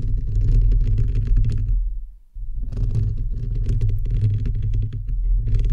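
Fingertips and nails of both hands scratch the perforated metal mesh grille of a bare, hollow microphone head. The result is a dense, boomy rumble of scratching with faint bright crackles. It falls almost silent briefly near the two-second mark, then resumes steadily.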